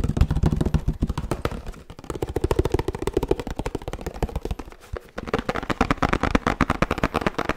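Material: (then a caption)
Paperboard laminate. A 1 L oat milk carton made of laminated paperboard with a plastic cap is tapped quickly on its faces and cap with fingertips and nails. The result is a fast, uneven stream of short, dull, low thumps, with brighter, clickier taps toward the end.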